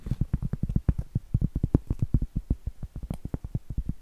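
Long acrylic nails tap and scratch the face of a round, flat, solid cork trivet held upright. About 30 quick, dull, low-pitched taps come in a rapid, uneven stream, each dying away almost instantly with no ring.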